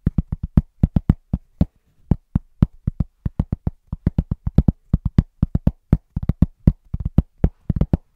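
A large, thin, round cork trivet is held upright and tapped quickly with the fingertips of both hands. About 42 dull, low, woody thuds come in an uneven rhythm, with a short pause near the two-second mark. Each tap is very short, with almost no ring and little high-end content.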